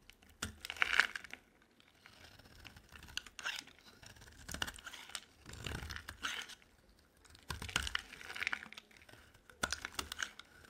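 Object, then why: Bar of soap scraped with a knife blade. A utility knife blade scrapes and carves a solid, rounded light blue bar of dry soap held in the hand, shaving it into flakes. Short bursts of crisp, bright scraping and crunching come in bunches, separated by brief quiet pauses.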